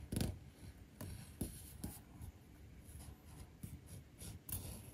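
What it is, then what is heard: Leather panel being grooved. A metal-tipped grooving or edge tool is drawn repeatedly along the edge of a flat, thin, solid navy-blue leather panel held down by fingers on a stone bench top. It cuts a groove with short, quiet, scratchy strokes. Each has a dull low thump and a faint bright rasp that dies away quickly.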